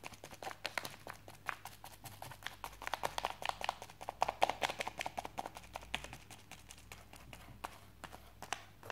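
A wooden chopstick tip and fingertips tap quickly and irregularly on a white plastic postal mailer with a package inside, lying on a desk. Each tap is a short, dry, crinkly click with a mid-toned plastic body and bright edges. A faint low hum runs steadily underneath.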